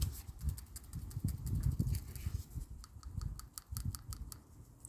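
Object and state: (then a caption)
New PCV valve rattling freely. A new replacement PCV valve for a 2005 Toyota Corolla 1.8 is shaken to compare it with the old one, producing a rapid string of sharp, light clicks and rattles over low handling thumps. Its internal rattle is free and lively, serving as the reference the old valve falls short of.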